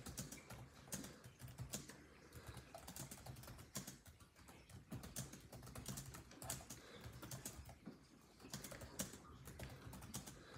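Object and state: Plastic laptop keyboard.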